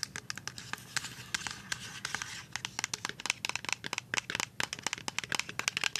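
A full white plastic liquid soap pump bottle, turned to show its bottom, is tapped on the bottom and side with paper-clip nails. Dozens of quick, bright, dry clicks with almost no ring rattle out, with a denser scratchy stretch in the first half.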